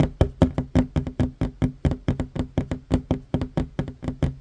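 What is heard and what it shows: Fingertips and short nails of both hands tap quickly on a solid wooden tabletop, making 24 short, dry knocks in rapid succession. Each tap is a low, woody thud that dies away almost instantly, with little brightness.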